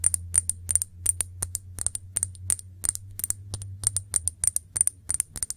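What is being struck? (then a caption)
Glass shot glass. Long nails tap the sides of a small, clear, hollow, empty glass shot glass held upright, making a rapid, uneven series of about thirty bright, high, glassy clicks. Each tap is sharp and dies away almost instantly over a steady low hum.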